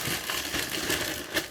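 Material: Nothing is struck.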